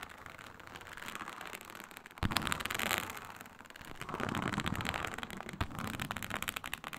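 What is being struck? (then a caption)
Snakeskin-textured synthetic leather sheet. Long nails scratch across a flat, iridescent snakeskin-textured faux leather sheet, a synthetic leather mat with a snake-scale pattern. The result is a dense, crackly, bright scratching texture that swells and fades, with a sharp, louder stroke just after two seconds and another near the end.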